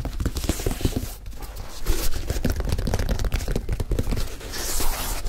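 Fingertips scratch the heel, collar and side of the leather upper of a single hollow, empty white leather high-top sneaker, its opening exposed. The result is a steady run of dry, scuffing scratches and soft thuds with a heavy low-end, interspersed with brief brighter rasps.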